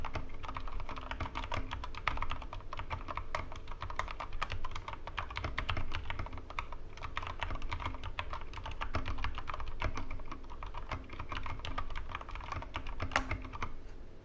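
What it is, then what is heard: Plastic mechanical keyboard. Continuous two-handed fingertip typing on a Corsair K65 Mini 60% mechanical keyboard with plastic keycaps and Cherry MX Red switches, resting on a wooden desk. A dense, steady stream of short, dry key clacks with a low, thumpy body and a clicky midrange. Nothing rings out between strokes.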